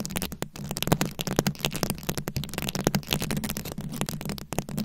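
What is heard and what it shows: Long acrylic nails scratch and tap across a fist-sized microphone head fully covered in small glued-on rhinestones and beads. The result is a dense, continuous stream of crackly, clicking scratches with short bright ticks over a steady low, boomy rumble.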